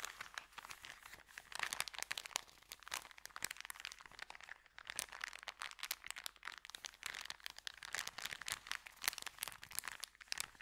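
Hands press, squeeze and crinkle a small folded packet of a white paper sandwich bag with green print. Dense, bright crackling and crunching comes in quick, sharp bursts with almost no low end, swelling and easing throughout.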